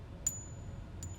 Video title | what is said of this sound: Counterfeit Coins! Cleaning Ancient Coins! Coin Guy Retirement?! | the ring test it's supposed to have a it's supposed to ReSound you know ding